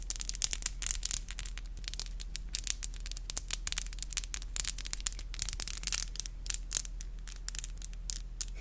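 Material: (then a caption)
Acrylic. Long black acrylic nails are rubbed and tapped against each other, producing a rapid, irregular stream of sharp, bright clicks and scratchy rubbing sounds. A steady low hum runs underneath throughout.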